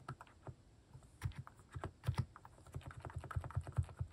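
A hand types across a plastic mechanical keyboard with cat keycaps, pressing the keys with its fingertips. A quick, uneven run of short, dull keystrokes sounds with deep, muted thocks and faint clicks, each dying away almost at once.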